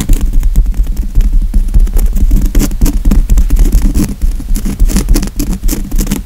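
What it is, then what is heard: Woven fabric couch cushion. Fingernails scratch and tap quickly on a padded grey woven fabric couch cushion. A dense, steady run of short scratchy strokes layers bright, hissy bursts over soft, low, muffled thumps from the padding, with no pauses across the clip.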